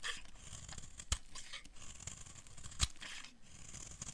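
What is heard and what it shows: A metal blade scrapes fine shavings off a hand-sized, solid bright green bar of dry soap. It makes a steady, dry, crackly rasp with a bright hiss and low rumble, broken by two sharper, louder scrapes near 1.1 and 2.8 seconds.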